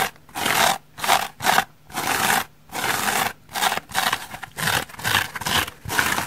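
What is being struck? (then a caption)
Polyurethane foam sponge. A dry, hand-sized, porous and soft rainbow-striped polyurethane foam bath sponge is held in one hand and scratched with long red-painted fingernails. Repeated bursts of dry, bright scratching and rubbing come in short strokes separated by brief pauses.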